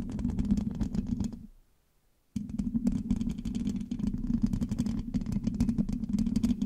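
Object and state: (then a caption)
Metal microphone mesh grille. Long acrylic nails on both hands rapidly scratch and tap the hollow black metal mesh grille of a large USB microphone, making a dense stream of close-up clicks and scrapes over a warm, boomy low body. The sound fades into a brief silence near the two-second mark, then starts again abruptly and continues steadily to the end.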